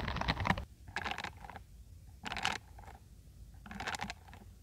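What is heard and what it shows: Long acrylic nails scratch across the dense bristles of a hand-sized, peach-orange silicone scalp massager brush. There are four short bursts of clicky, bright pattering, each with a softer rustling tail, separated by brief quiet gaps.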